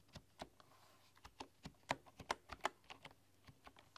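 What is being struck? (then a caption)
Bamboo computer keyboard. A full-size bamboo keyboard with a light wooden frame and solid bamboo keys is typed on with fingertips and long, dark-polished nails. About 15 short, crisp taps come at an uneven pace, each clicking around 1 kHz with brief bright edges and almost no ring. The taps are quiet and dry against a low, steady background hum.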